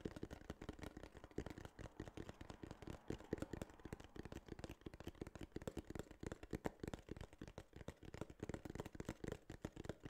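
Fingertips and nails tap rapidly and continuously on a small, hollow, tan kraft cardboard case for about ten seconds. The taps are dull, short and soft, mostly low and hollow-sounding, with a faint papery tick and almost no ring.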